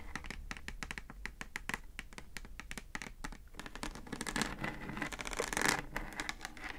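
Long acrylic nails tap and scratch the plastic top of a hollow pink plastic Bluetooth speaker housing with a round centre control. Quick, dry, clicky taps come first, then denser, brighter scratching that swells louder toward the end, over a faint steady low hum.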